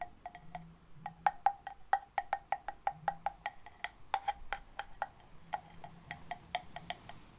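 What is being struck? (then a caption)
Large conch-like seashell. A large, hollow, cream-coloured conch-like seashell is held in both hands close to the mic and tapped with long painted nails. About thirty quick, dry clicks follow in an uneven rhythm, each with a short, hollow ring near 820 Hz that dies away almost at once.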